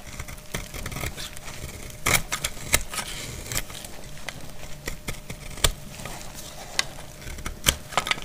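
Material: Soap.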